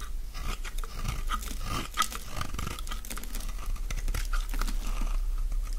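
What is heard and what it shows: A utility-knife blade shaves flakes from the face of a solid oval green dry soap bar held in the palm. Quick, uneven crunchy scrapes follow one another with brittle crinkling over a steady low hum. Each stroke ends with a short, dry, close-up texture.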